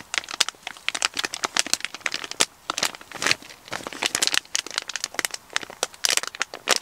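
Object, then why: Kraft paper mailer bag. Fingers with short nails squeeze and crinkle a hollow brown kraft paper shipping mailer with a barcode label and an item inside. Rapid, crisp crinkles and crackles sound bright and dry, with almost no low end and only brief pauses between bursts.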